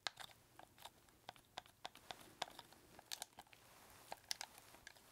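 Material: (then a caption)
Plastic. Fingertips press, click and tap the buttons and shoulder triggers of a red, hollow plastic game controller held close. About fifteen short, dry, bright clicks and taps come at an irregular pace, each dying away almost at once, with almost no low end.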